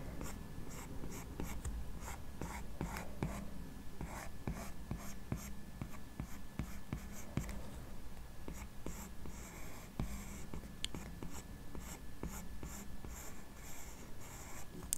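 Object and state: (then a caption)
Glass tablet screen tapped with a stylus. The plastic tip of an Apple Pencil strokes and taps the solid glass touchscreen of a large 12.9-inch iPad Pro lying flat while lines are drawn. Quiet, quick clicks and short scratchy strokes repeat irregularly over a steady low hum. Each tap is dry and dies away almost at once.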